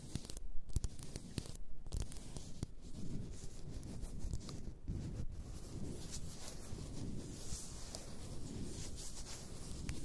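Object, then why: Glass bottle filled with bath salt. Long nails rub and scratch the sides of a large, apparently glass bottle full of pink bath salt. A soft, low-heavy rubbing and scraping continues throughout, broken by occasional short, sharp clicks and brighter scratchy bursts.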